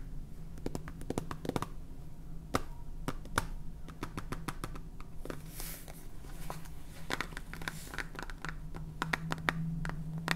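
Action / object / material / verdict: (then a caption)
tap / plastic salt jar with plastic cap / plastic / none. Fingernails tap and scratch the side and red plastic cap of a clear plastic salt jar full of salt. Quick, dry clicks come in irregular clusters, with brief scratchy bursts between them. A low, steady hum runs underneath throughout.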